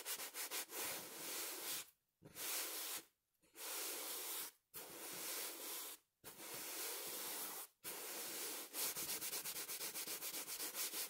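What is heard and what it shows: A small, soft stuffed fabric throw pillow with a printed blue-and-pink cover is held beside the face and rubbed and scratched with fingertips and nails. Long, bright, hissy scratching strokes are broken by brief silent pauses. The clip ends in a run of quick, rapid scratches.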